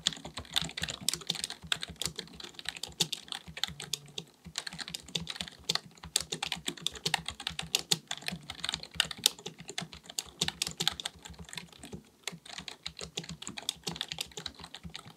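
A black full-size plastic computer keyboard on a desk is typed on rapidly with the fingertips of both hands. Bright, dry key taps clatter in a quick, uneven stream, each click dying away almost instantly. The typing pauses briefly a couple of times before resuming.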